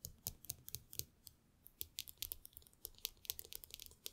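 Long fingernails tap and scratch the hollow aluminum ear cups of AirPods Max headphones lying on a table, while the many metal rings on the fingers may add extra clicks. Around twenty quick, dry, bright clicks and ticks come in an uneven patter with faint scratchy rustle between them. Each one dies away almost instantly, and the whole clip stays quiet.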